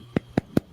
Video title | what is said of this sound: Canadian Technology Researcher Joshua Bertrand | This is a piece of aerogel that I have. It's rather light. It sounds funny if you tap it.